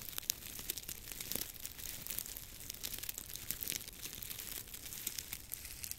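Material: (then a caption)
Dried grass. Fingertips rub and crinkle a long, tied bundle of dry grass or straw stalks held horizontally above a microphone. The result is a steady, quiet, bright crackling and rustling with fast, dense little snaps and almost no low end.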